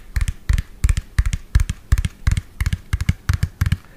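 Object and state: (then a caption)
Plastic toy truck tapped with fingernails. A hollow lime-green and yellow plastic toy truck, about 25 cm long, is held close to the mic and tapped rapidly with fingernails on its plastic body. Quick bursts of two to four dry, clicky taps repeat roughly three times a second, each with a dull low thump under bright ticks and almost no ring.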